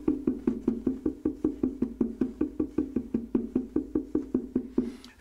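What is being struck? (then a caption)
Wooden mandolin top. A small wooden-handled tap-tuning mallet taps repeatedly on the top of an assembled F-style acoustic mandolin with a hollow wooden body, lying flat on a bench. About two dozen short, hollow wooden knocks sound at a steady pace. Each has a resonant tone around 250 Hz that dies away almost at once.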